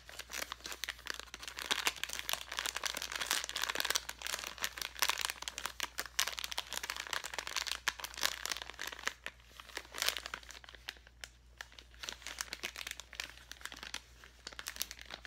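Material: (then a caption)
Plastic. A clear plastic bag filled with colorful glitter foam letters is held in both hands and squeezed and crinkled with the fingers. Dense, bright crinkling and crackling runs throughout, with many quick overlapping crackles over a steady low hum. It turns quieter and sparser in the later part.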